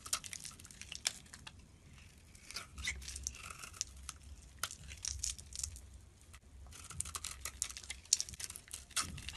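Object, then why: Bar of soap shaved with a blade. A utility blade shaves the surface off a solid soap bar with an orange surface and white core, held in the hand. Quiet, crisp scraping and crinkly tearing strokes come in dense bright bursts with short pauses, over a faint low hum.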